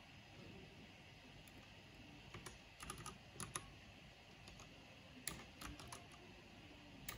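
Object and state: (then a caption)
Plastic mechanical keyboard being typed on. Fingertips with long nails type continuously on a backlit mechanical keyboard with black plastic keycaps. About 13 sharp, bright clacks ring out in irregular clusters over a quiet, steady low rumble, and each one fades almost instantly.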